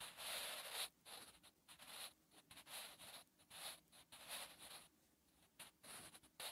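A graphite pencil held in the fingers writes on a lined paper notebook page with scratching strokes. Quiet, bright, papery scratches come in short irregular bursts separated by brief pauses, with almost no low end.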